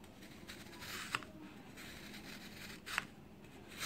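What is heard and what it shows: A black-handled knife cuts down and scrapes through a round, solid block of compressed baking soda, dyed orange and white, resting on a white tray surrounded by crumbled powder. Soft, steady scraping and rubbing is broken by sharp, bright, crunchy crumbling snaps that die away almost at once.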